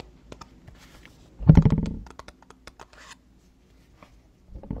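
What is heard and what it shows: Long fingernails tap and scratch a small, hollow, printed white cardboard box for an Emerald skincare product, held in both hands. Soft, scattered taps lead into a louder, low, rumbling burst of scratching, followed by sparse, light, dull taps and a final stretch of scratching. The box gives a muffled, hollow sound with little ring.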